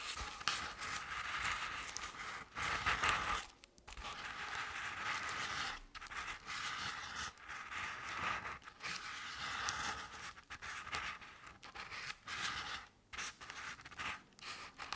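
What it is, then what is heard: Crepe-paper-covered decorative pumpkin. Long-nailed hands scratch the sides of a medium-sized round decorative jack-o'-lantern covered in crinkled orange crepe paper with black paper face cut-outs. The result is a steady, dry, papery scraping and crinkling, bright and concentrated in the mid-to-high range with little low end. It comes in short bursts separated by brief pauses.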